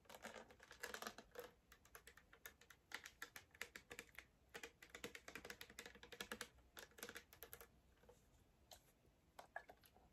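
Long black acrylic nails tap and scratch a small blue plastic Fanta bottle with an orange cap, hollow and filled with liquid, held in both hands. Quick, bright, clicky taps come in dense bursts with short, dry decays and faint scratchy texture, thinning out toward the end.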